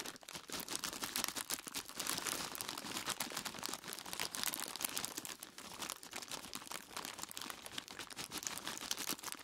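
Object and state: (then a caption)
Plastic bag of ice cubes. Both hands squeeze and rub a large, clear plastic bag full of solid ice cubes, tied at the top, with the fingertips crinkling the plastic and crunching the ice. The result is a steady, dense stream of short, bright crackles and crunches, mostly high in tone with almost no low end and no ringing after each snap.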